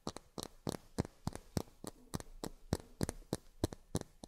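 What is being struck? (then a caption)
Miniature plastic drinking glasses. Long fingernails tap on miniature plastic drinking glasses, producing about 17 short, dry, quiet clicks at an uneven pace, often in quick pairs. Each tap has a low thump and a bright tick that stops almost at once, with no ring.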